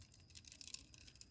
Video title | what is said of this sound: bambu bambu aneh | kalau kita goyang-goyang ini ada bunyi klotok-klotok